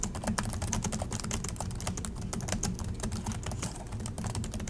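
Both hands type continuously with their fingertips on the plastic chiclet keys of an Acer laptop keyboard, making a rapid, steady stream of light clicky taps. A low, steady hum sits beneath the bright, short key clicks.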